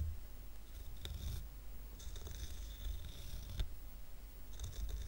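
Fingertips and nails scratch the top and sides of a small square stack of solid wooden coasters, painted grey with a red heart and tied with red-and-white twine. Soft, dry scratching comes in bursts with bright, hissy edges over a low rumble, with a few sharper ticks along the way.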